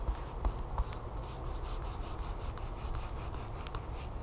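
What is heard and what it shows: Long fingernails tap quickly on a flat, sealed plastic package holding a folded yellow plastic tablecover lying on a table, with some light scratching. Three sharper taps stand out at the start, then a steady, soft stream of rapid ticking and crinkly scratching continues, with bright clicks over a low, dull rumble.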